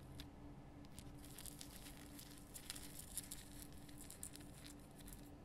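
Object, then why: Rock-salt lamp. Long painted nails scratch across the rough surface of a large, solid, lit pink rock-salt Himalayan salt lamp. Quiet, dry, crackly scratches come in bright bursts over a steady low hum.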